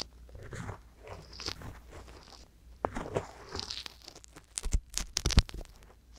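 A wooden-handled metal ear pick scratches inside the ear canal of a soft silicone ear mounted on a hollow white binaural microphone body. Close, crunchy scraping and rustling with a low rumble comes in uneven bursts, turning into sharper, louder crackles near the end.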